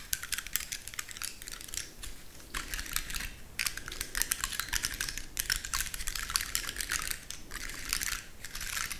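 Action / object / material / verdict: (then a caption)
scrape / woody pine cone scales / pine cone / none. Long nails scratch and tap the rigid scales of a large dry, woody pine cone with a solid core. The result is a dense stream of crisp, bright clicks and scratchy rustles that come in short bursts with brief pauses, each click dying away almost instantly.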